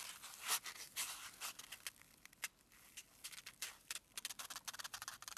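A single small, solid white foam packing peanut is pinched and squished between fingertips and thumb, held above a pile of them. It gives off quiet, bright, dry squeaks and crackling creaks in a rapid, uneven series of short bursts with almost no low end.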